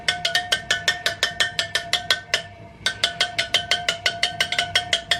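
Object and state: Tight motorcycle wheel spokes.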